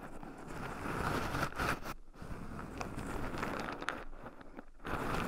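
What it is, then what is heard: Raw pine nuts stirred in a wooden bowl. Two wooden chopsticks stir and poke through a small wooden bowl heaped full of shelled raw pine nuts, with two black microphones buried in the pile so the nuts also rub against them. A dense, close crackling and scratching rustle runs throughout, with a few brief quieter gaps where the stirring pauses.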